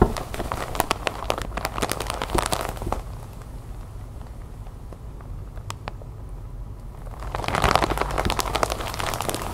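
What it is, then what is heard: Plastic bag of cotton balls. Long white nails scratch and tap across the plastic film of a large, clear, sealed bag full of white cotton balls lying on a wooden table. Fast, crinkly crackling taps and scratches are busiest at the start and the end, with a quieter, softer stretch in the middle, over a steady low hum.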